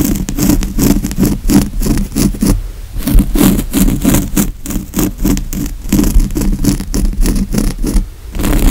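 Fingernails scratch and tap quickly on a padded grey woven fabric couch cushion, making a steady run of dense, rough scraping bursts. Soft, low thumps sit around 190 Hz beneath faint bright fabric hiss. Each stroke dies away almost at once, with a brief lull near the three-second mark.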